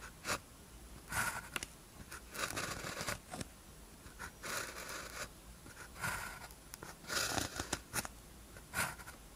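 A blue ballpoint pen tip scratches across a thin white paper practice sheet with a red grid, lying flat, while writing characters. Quiet bursts of dry, bright scratching rise and fall as the strokes are made, separated by near-silent pauses.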